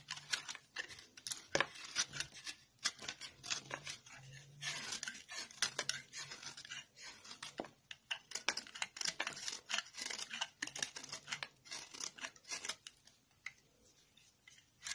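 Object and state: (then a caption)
Glycerin soap bar being shaved. A metal knife blade scrapes and shaves a translucent yellow solid glycerin soap bar, held in hand, into powder. Quick, dry, bright scraping strokes come in dense, irregular bursts with very little low end. The sound thins out toward the end.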